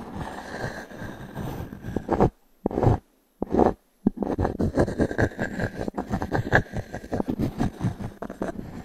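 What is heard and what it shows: A small wooden cube is dragged and tapped across the surface of a solid round pine log-slice coaster held in the palm. Dry, scratchy scraping alternates with short, dull, woody taps that stop almost instantly, broken by a few brief silences near the start. After that, a steady run of rapid irregular taps and rubs continues to the end.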